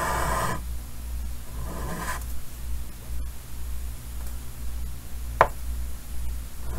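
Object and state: Chalk drawing on a chalkboard.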